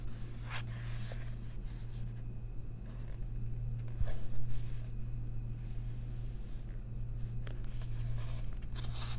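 Long nails rest on and brush across a page of a second paper coloring book held open, making soft rubbing and scratching strokes. The scratches come as faint, bright bursts, with a louder stretch near the middle, over a steady low hum.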